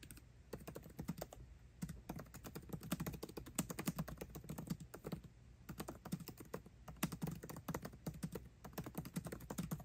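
Both hands type fast with their fingertips on the backlit black plastic keycaps of a 13-inch aluminium MacBook Pro laptop keyboard. The result is a continuous stream of short, dry clicking taps with a low thud beneath, and brief pauses between the quick bursts.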